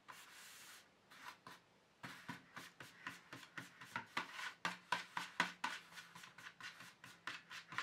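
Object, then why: Empty plastic tray. Fingertips and nails of both hands rub and scratch the base of an empty black plastic paint tube tray. A steady, bright rub opens the clip, then gives way to a run of short, dry scratching strokes, about two per second in an uneven rhythm. The strokes are quiet and papery, with little low end.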